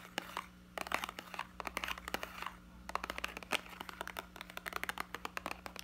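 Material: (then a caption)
Plastic. Fingertips squeeze and crinkle a small, hollow, clear plastic blister pack of yellow hot-glue sticks with a cardboard backing card, held in both hands. Dense, irregular crackles and sharp clicks come in quick clusters with bright, brief snaps and almost no low end over a faint steady hum.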